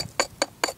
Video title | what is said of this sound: Llano Del Rio Exploration - 100 year old abandoned community | definitely sounds like ceramic and it's a layered ceramic